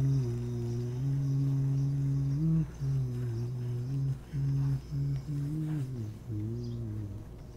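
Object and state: Nothing is struck.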